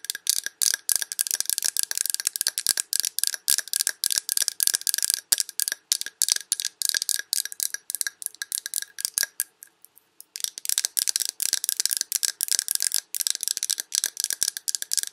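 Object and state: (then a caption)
Glass candle jar tapped with fingernails. Long red nails tap rapidly on a large glass Yankee Candle jar full of wax, striking both the glass and its paper label. The taps are short, dry and bright, with almost no low end and a faint steady ring underneath. The tapping pauses briefly around the ten-second mark, then resumes at the same pace.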